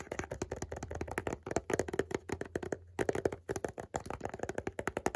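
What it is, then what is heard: Cardboard box tapped and scratched. Fingertips and short nails rapidly tap and scratch along the edges and faces of a small white rectangular cardboard perfume box, held closed in the hand. The dry, hollow clicks have a muted mid-range tone and die away almost at once. They run in quick bursts with a brief pause near the middle.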